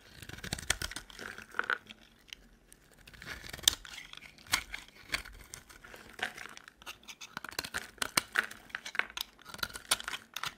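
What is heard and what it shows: A metal utility knife blade scrapes long shavings off a solid, cream-colored dry soap bar with foil on its edges, held in the hand. The sound is a run of dry, crisp, crumbly scrapes and crinkly tearing strokes, bright and thin with almost no low end. The strokes come in quick repeated bursts with brief quiet gaps between them.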